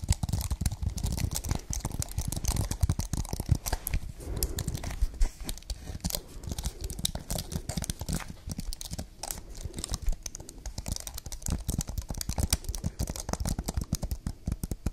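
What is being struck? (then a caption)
Plastic-keyed keyboard on an aluminium base. A slim, solid white wireless keyboard with plastic keys on an aluminium base is held upright in front of the face while long painted nails tap and scratch across its keys. The result is a dense, steady stream of quick, dry clicks and scraping, crinkly textures with a heavy low-end thump, continuing without pause for the whole clip.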